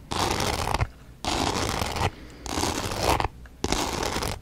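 A small rectangular box coated in multicolored glitter, with a pink cut-out window, is held in one hand and scratched and tapped with long dark nails. Four dense bursts of gritty, rasping scratching spread from low thumps to bright hiss, separated by short quieter pauses.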